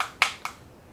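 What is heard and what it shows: Two sharp knocks on the nylon-fiber plastic receiver of an Echo 1 Knight's Armament SR16 E3 Mod 2 airsoft rifle give short, bright taps with a quick decay and no low-end body. The receiver sounds solid, with no wobble or flex, but the tap reveals it is plastic rather than metal.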